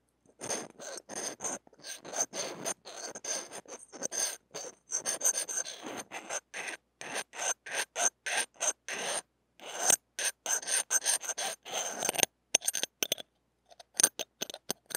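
A flat stainless steel knife-shaped spatula scrapes repeatedly along the steel mesh grille and blue metal body of a small hollow mini microphone. The result is about forty short, bright, raspy strokes with no low end, sharp metallic scratching, and a thin high ringing tone running through them.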